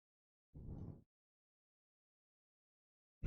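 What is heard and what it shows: A book's spine, made of a different material from its cover, is scratched in one short, quiet stroke of about half a second that is dark and low-pitched with almost no high end. After nearly two seconds of silence, a second sound begins just as the clip ends.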